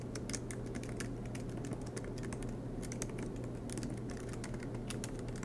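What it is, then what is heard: Laptop keyboard being typed on. Fingertips type continuously on the black plastic keys of a MacBook Pro aluminum laptop, producing a rapid stream of light, bright taps and clicks. A steady low hum runs underneath the typing throughout.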